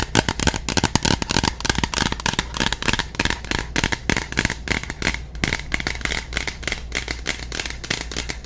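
Long nails rapidly tap and scratch the side of a tall, partly full plastic bottle of soak-off liquid. The result is a dense stream of sharp, dry clicks and scratchy rustling over a steady low hum.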